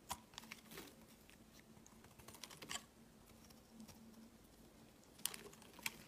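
A utility knife blade shaves thick flakes off a solid white bar of soap held in the hand. Quiet, bright, crisp scraping clicks and short crackles come at irregular intervals, with sharper snaps near the end, over a faint steady low hum.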